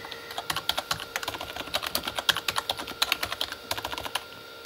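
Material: Plastic.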